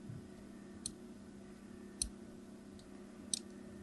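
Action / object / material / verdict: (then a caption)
scrape / hard soap bar cut with a knife blade / soap / none. A craft knife blade scores diagonal lines into a solid, opaque, palm-sized yellow hard soap bar held on the table, with a green soap bar sitting idle nearby. Three short, bright, crisp scratching clicks sound at irregular intervals over a quiet, steady low hum. Each cut is sharp and dies away almost instantly.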